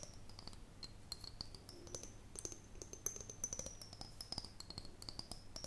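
An empty, hollow, clear glass mason jar is held close to the microphone and tapped and scratched with long fingernails. The result is a quick, steady run of light clicking taps and scratches over a faint, high glassy ring that wavers throughout, with each tap dying away almost instantly.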